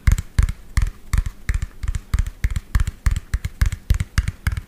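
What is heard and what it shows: Fingernails tap rapidly on a medium lime-green hollow plastic toy dump truck with an empty tipper bed. The result is a fast, uneven run of short, dry taps, each a hollow low thump topped with a bright clicky tick that dies away almost instantly.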